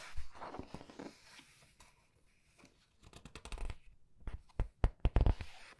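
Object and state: Paper book pages being turned.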